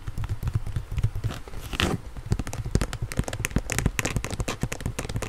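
The blue and yellow hard plastic cuff of an inline skate, held up in both hands, is tapped and scratched with long nails. Quick, dry clicks and taps mix with crackly scratching, with a brief rougher scrape partway through. The sound is close and low-heavy, and each tap dies away almost instantly.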